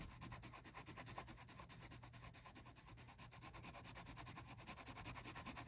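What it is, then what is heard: Pencil shading on a paper page. A green wooden colored pencil is rubbed back and forth across a printed paper coloring book page, held flat, to shade a bush, its lead scratching the paper surface. The result is a quiet, steady, bright scratchy rasp that pulses about three times a second with each stroke, over a low, constant hum.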